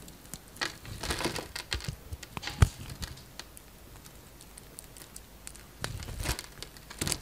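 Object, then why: Bar of soap. A utility knife blade scrapes across a solid green bar of soap with a crosshatch-scored surface, breaking off diamond-shaped chips. Soft, dry crackling and crinkly ticks come in irregular clusters, with brief bright snaps over a faint low rumble. One sharper crack stands out near the middle before the scraping settles and then picks up again.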